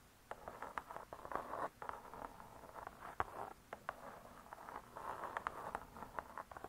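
Long nails tap quickly on the cardboard cover of a spiral-bound hardcover cookbook lying flat. A rapid, uneven patter of short, dry clicks centers in the midrange and dies away almost instantly. A soft, scratchy rustle fills the gaps between taps.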